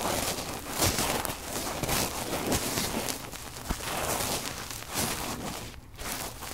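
Fluffy cotton swabs are rubbed over the two metal mesh capsule grilles of a red recorder. The result is a close, continuous scratchy rustling that stays broad and bright, with sharp crackling peaks and a faint low rumble underneath.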